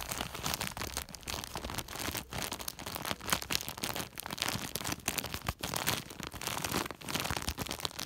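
Fingertips scratch and a flat hand rubs a large white woven polypropylene sack, making continuous bright, crinkly plastic rustling and scraping. Fast, dense strokes come with brief pauses and very little ring.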